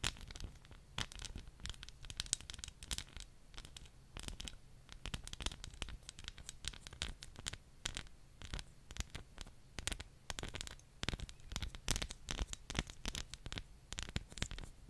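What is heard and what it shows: Long painted nails tap and scratch a small dark-green glass perfume bottle with a gold metal cap, held close to the microphone, moving over both the glass body and the cap. Dense, quick, bright clicks and dry scratchy rasps follow one another irregularly with almost no ring, over a soft low rumble.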